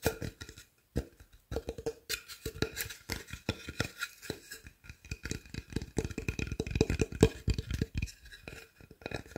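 Fingertips and nails scratch and rub along the edge and surface of a solid, pine-like wooden plank with a face drawn on it. The sound is a quick, uneven run of dry scratches, short taps and low rubbing thumps, with a faint tonal ring near 440 Hz. The sound stays quiet and close throughout.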